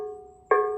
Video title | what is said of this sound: A tour through my vase collection w top tips for why & how to use them in event & wedding floristry | if you knock on them, they ring true. That's not cracked. If it were cracked, it wouldn't make that nice bell sound.